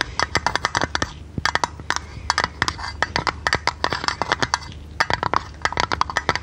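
A thin, hollow printed blue tinplate lid from a tea canister is held in hand and tapped and scratched with long red nails. Rapid clusters of sharp, clicky metallic taps with a tinny ring around 960 Hz die away almost instantly, separated by brief pauses and a faint scratching hiss.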